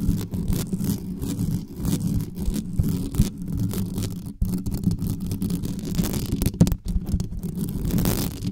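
Long nails on both hands scratch fast and aggressively at the sides of the uncovered mesh grille of a dark metal USB condenser desktop microphone. The result is a dense, continuous rasping rumble, heavy in the low end around 170 Hz, with rapid scraping textures and brief dips throughout.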